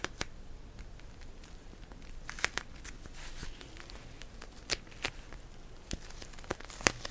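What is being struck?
Plastic pouch filled with gel beads.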